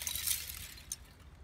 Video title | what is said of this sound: How to Make Biochar | That's what you're looking for, is that glass sound when it shatters.